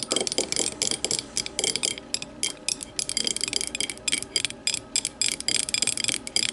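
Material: Glass.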